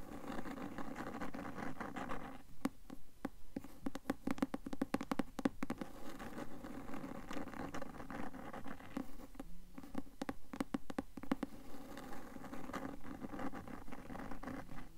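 Long acrylic nails tap and scratch the cloth cover of a closed, solid, medium-sized blue cloth-covered hardcover copy of *Mockingjay* with a gold bird stamp, held upright in both hands. A steady, soft, low scratching rustle is broken by bursts of quick, dry, sharp taps from about 2.5 to 6 seconds and again from about 9.5 to 11.5 seconds. Each tap dies away almost at once.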